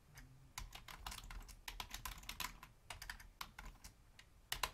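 Both hands type rapid key taps with long fingernails and fingertips on a full-size black plastic Logitech membrane keyboard with a hollow housing. The taps are short and bright, with a light low thud under them, coming in quick irregular bursts. A brief lull comes near the end before a final louder flurry.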